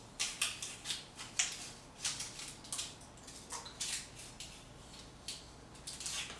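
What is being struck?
Paint layer on a concrete wall.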